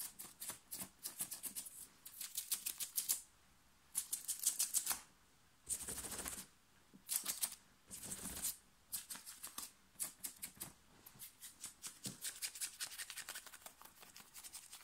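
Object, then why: Thin cotton t-shirt. Fingernails scratch quickly and hard over the shoulders and chest of a thin, worn, light blue cotton t-shirt. Bursts of dry, bright, rasping strokes come in rapid clusters separated by short silences, with a few longer, hissing rubs mixed in.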